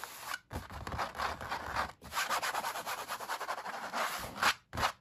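Fingertips and nails rub and scratch across the unpainted white back of a canvas stretched on a wooden frame, hollow underneath. Dry, papery scraping comes in rapid rhythmic strokes, broken by a few brief silent pauses, with a slightly hollow, drum-like body and bright hiss at the top.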